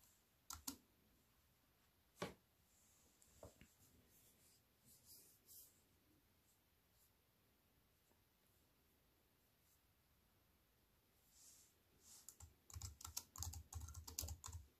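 Fingertips with long white nails slowly type on a compact plastic computer keyboard with black plastic keys set in a silver aluminium frame. A few sparse, sharp clicks with a low thud come first, then a long quiet stretch. A denser run of quick, bright key taps follows near the end.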